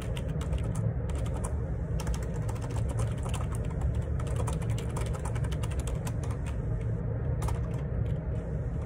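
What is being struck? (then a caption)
Plastic ergonomic split keyboard. Fingertips type steadily on a black plastic Perixx Periboard 612 wireless Bluetooth split ergonomic keyboard with a hollow housing and plastic keycaps, resting on a desk. A continuous stream of dull, low plastic key taps and clacks runs throughout, with brief bright clicks over a deep, hollow-sounding body.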